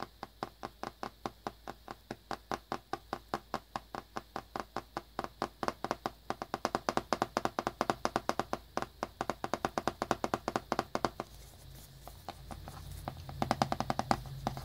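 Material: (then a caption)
Cardboard. Fingertips and nails tap rapidly near the corner of a small black cardboard earbuds box, held in the hand and wrapped in plastic shrink wrap. The sound is a steady run of short, dry, crinkly clicks with a bright edge. Toward the end the taps grow faster and denser over a faint low hum.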